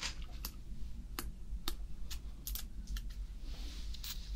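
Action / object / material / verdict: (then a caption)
tap / red tomato / tomato skin / none. A single large, solid, soft-skinned red tomato with its green stem is held close to the mic and scratched and tapped with fingernails. Short, bright, dry clicks and scratches land at irregular intervals over a steady low rumble. The taps die away almost instantly.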